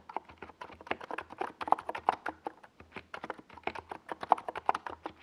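Fingertips of both hands type on a compact 68-key NiZ Plum Atom 68 mechanical keyboard with a white plastic case and tall purple and yellow Domikey Gas Attack SA plastic keycaps, resting on a desk pad. A steady, uneven stream of short, hollow, mid-pitched clacks comes at about 160 keystrokes per minute, each dying away almost instantly.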